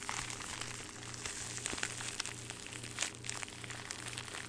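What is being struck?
Thin plastic bag.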